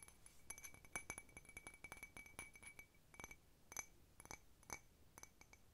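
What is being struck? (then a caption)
Ceramic cup tapped with fingernails. An empty, hollow blue patterned ceramic cup, held sideways, is tapped quickly with long nails. It makes clear, bright ringing clinks with a tone near 2.3 kHz that stop almost at once. The taps come in uneven bursts.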